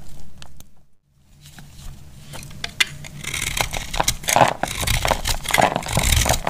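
A metal utility blade cuts and scrapes a solid, dry, pink-and-green heart-shaped soap held in the hand, sending crumbles flaking off. Crisp, brittle scraping cuts start sparse, pause briefly near the one-second mark, then grow louder and denser with bright, crackling detail through the rest of the clip.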